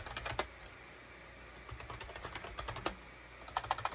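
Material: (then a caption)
Plastic. Fingertips type rapidly on a full-size gray and cream SHIPADOO K600 wired USB keyboard with a hollow plastic case and plastic keycaps, resting on a desk mat. Quick, sharp plastic key clicks and clacks come in short bursts with a brief quiet pause between them, each tap dying away almost instantly.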